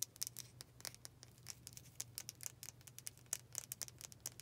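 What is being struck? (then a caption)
Wooden-backed bristle brush. Long painted fingernails tap rapidly on the solid dark wooden back of a hand-sized brush with black bristles. The result is a quick, uneven patter of dry, bright clicks that stop instantly, over a faint low hum.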